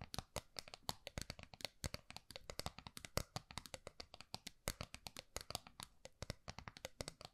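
A small round gold metal tin is held upright while long nails tap and scratch across its face and edge. The result is a quiet, rapid run of dozens of short, dry, bright clicking taps with light scratching between them.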